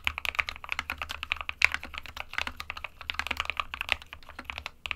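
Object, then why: Plastic mechanical keyboard. Both hands type rapidly with their fingertips on an SK61 small 60% mechanical keyboard with a white plastic case and plastic keycaps, resting on a printed desk mat. The result is a fast, continuous stream of short, bright, clacky key taps centered around 2.3 kHz, with no ring after each stroke.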